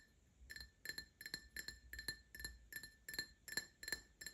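An empty Paladone Mario Kart pint-style glass tumbler with printed decals, held in the hand, is tapped with fingertips and short nails in a steady run of quick taps. Each tap gives a short, bright clink ringing near 1.8 kHz with high overtones, fading almost at once.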